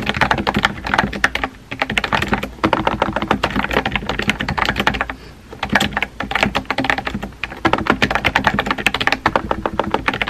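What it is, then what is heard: Plastic mechanical keyboard. Fingertips with painted nails rapidly tap a compact pink plastic mechanical keyboard with round white-and-pink typewriter-style keycaps and a hollow body, resting on a desk. Dense bursts of short, sharp, clacky key strikes with a bright edge around 2.7 kHz and a hollow thock underneath run almost continuously. Brief pauses come near 1.7, 2.6, 5.3 and 7.4 seconds before the fast typing resumes.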